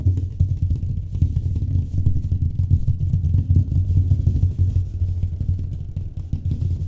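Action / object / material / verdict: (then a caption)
tap / drywall wall panel / gypsum board / none. Fast tapping on a drywall wall surface produces a dense, continuous stream of dull, low thuds with a booming hum around 86 Hz. Almost all of the sound sits in the deep low end, with only faint bright clicks above.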